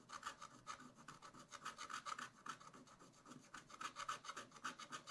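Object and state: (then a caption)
Scratch-art paper being scratched. A wooden stylus scratches short fur lines into a raccoon drawing on black wax-coated scratch-art paper in a spiral-bound pad. It makes a quick, uneven run of dry, raspy scratching strokes, bright and thin with a focus around 1.3 kHz and almost no low end. Each stroke dies away almost at once.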